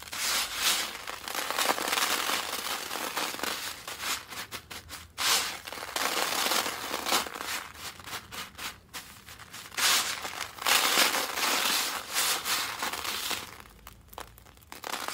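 A large pile of fine, dry orange soap flakes on a paper surface is pressed and squeezed with both hands while fingertips crumble the pieces. Dense, bright crunching and crackling come in irregular bursts, with short pauses between squeezes and no low rumble.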